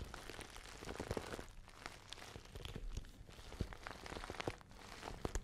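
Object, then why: Small patent faux leather handbag. A small pale pink glossy patent faux leather handbag with a gold chain is tapped and scratched with long nails. Dense crinkly scratching is broken by sharp little taps that die away almost at once, with most of the energy low and only a thin bright edge on top.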